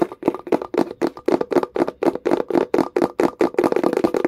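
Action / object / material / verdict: tap / small wooden box / wood / none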